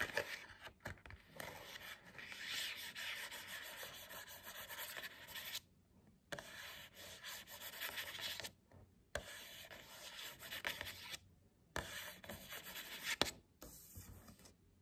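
Long nails scratch and rub the printed cardboard back cover of an upright hardcover book, making a dry, bright rasping sound. The scratching runs in several sustained passes broken by short silent gaps, with a few sharp scrapes.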